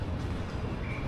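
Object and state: Nothing is struck.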